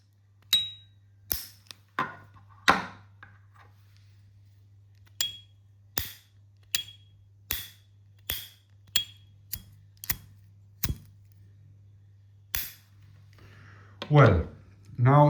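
Two lightly used S.T. Dupont Line 2 lighters have their metal lids flipped open about fifteen times, each giving a sharp, loud, bright ping with a short ring over a steady low hum. This is the expected sound of a clean Line 2. The clip ends with a couple of louder, rougher handling noises.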